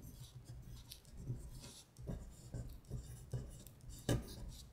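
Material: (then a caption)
Paper. A long pointed nail traces and scratches along the printed lines of lyrics on a thin paper sheet lying flat. Quiet, dry scratching strokes come in short bursts with bright papery hiss over a soft low hum, and a few strokes land noticeably harder near the end.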